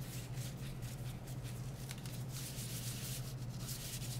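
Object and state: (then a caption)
Plastic phone case being wiped. A disinfectant wipe is rubbed over the back and edges of a smartphone in a light plastic or silicone case, held in gloved hands. A continuous soft, airy rubbing and wiping hiss with brighter swishes runs over a steady low hum.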